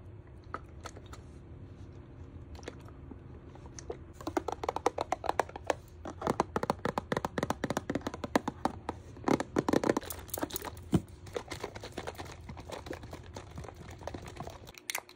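Fingertips and nails tap rapidly on the sides and bottom of a hollow purple plastic Xtra liquid detergent bottle held in one hand. A few soft taps in the first four seconds give way to a dense run of sharp, dry clicks and hollow knocks that stop almost instantly, over a low steady hum.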